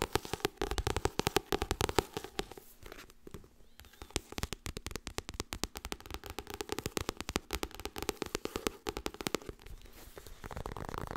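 Fast tapping on the softcover paper book "Getting Things Done" makes a dense stream of short, dry taps with almost no ring. Each tap carries a soft low thump under a bright papery click, and the bursts come in quick irregular runs. A brief quieter patch falls in the middle, and a steady hiss rises near the end.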